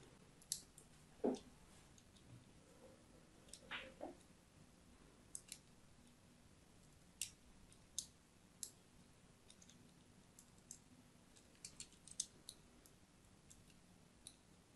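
A solid pink-and-white striped soap bar is held upright in the hand while a thin blade scores diagonal lines into its surface. Quiet, sharp clicks and brief bright scratches come in scattered bursts, with a few lower, longer scrapes near the start, over a soft low background.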